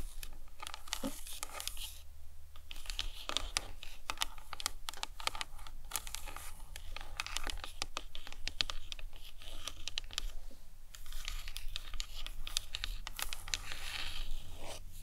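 Long nails scratch and tap across the top and sides of a hollow plastic anatomical skull model, making a dense run of quick, bright clicks and scrapes. A steady low hum sits underneath, and the taps die away almost instantly.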